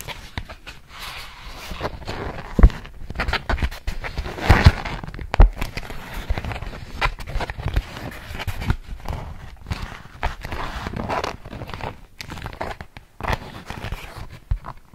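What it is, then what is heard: Beeswax-coated cotton food wrap. A large polka-dot beeswax-coated cotton food wrap sheet behind the microphone is scratched with long nails and crinkled by hand. The result is a steady stream of soft crackling, scraping and crinkling, mostly low and muffled, with occasional sharper louder crinkles standing out.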